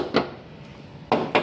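Three knocks on a repaired body panel of a Toyota Hilux, where thick body filler sits under the paint, each giving a short, dull, woody thud centered around 445 Hz with almost no ring. The repaired spot sounds different from bare metal, and a paint tester reading of 437 there, above the 200 threshold, confirms a thick filler repair.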